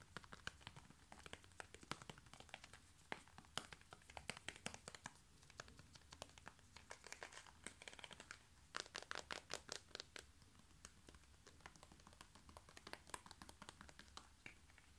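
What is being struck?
Small plastic cosmetic tube.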